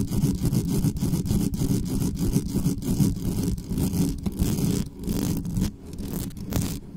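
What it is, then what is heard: Metal microphone grille scratched. Long nails rapidly scratch the top of the metal mesh grille on a black studio microphone. The result is a dense run of quick, rasping scrape strokes with a heavy, boomy low end and little brightness, easing into softer, sparser scratches over the last couple of seconds.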